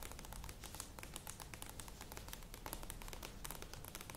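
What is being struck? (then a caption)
Plastic yogurt tub with lid. Long nails tap quickly and continuously on the sides of a medium plastic yogurt tub with a lid, standing on a table. The result is a dense, steady stream of light, crisp clicks with bright tips over a hollow, low body.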